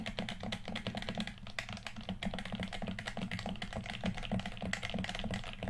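A hollow red plastic PS4 controller is held in both hands while fingertips rapidly click its buttons and d-pad. The result is a dense stream of short, dry plastic clicks over a steady low hum.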